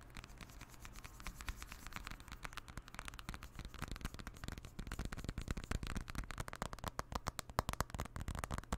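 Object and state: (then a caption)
Aluminium and glass smartphone. A silver iPhone with an aluminium back and glass front is held in both hands above a microphone while fingertips and nails tap and scratch along its metal edge and back. The result is a quiet, rapid patter of short, dry clicks and scratches over a low rumble. The tapping grows louder and denser in the second half.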